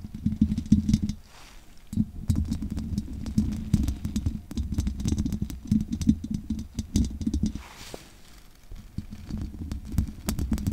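Long painted nails scratch the bare metal wire-mesh grille of a condenser microphone with a hollow capsule head, using both hands. The scratching comes through as a dense, boomy low rumble with a hum near 207 Hz, peppered with fast, sharp ticks that reach up into the highs. It pauses briefly around 1.5 and 8 seconds before resuming.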